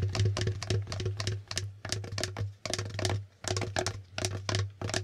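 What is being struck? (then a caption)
Plastic board game tiles. Fingertips of both hands tap and flip the plastic letter tiles and figure tiles on a plastic Hangman board game. The result is a quick, uneven series of short, dry clicks and clacks with bright edges, over a steady low hum.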